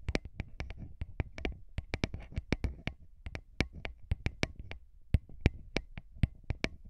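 Short fingernails and fingertips rapidly tap and scratch two small metal-bodied microphone capsules on a handheld recorder. A quick run of sharp, close taps lands with deep low thumps and bright, crisp clicks that die away almost instantly, with soft scratchy rustling between them.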